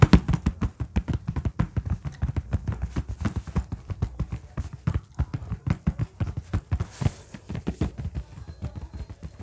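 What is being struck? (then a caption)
Faux-leather bag. Fingernails and fingertips tap and scratch the top surface of a large orange textured faux-leather (synthetic leather) bag. A steady run of quick, dull, low thuds follows, each dying out almost instantly, with a soft, brighter scratching swish around the seventh second.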